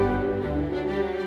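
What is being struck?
Nothing is struck.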